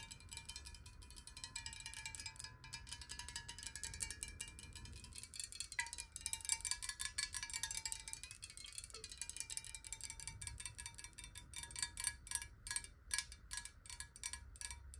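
A square clear glass bottle holding some water is held tilted in the hands and tapped quickly with long nails. The result is a dense stream of bright, short clicks over a faint steady ringing tone near 1 kHz, with a soft low rumble underneath throughout.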